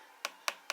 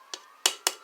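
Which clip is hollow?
The second.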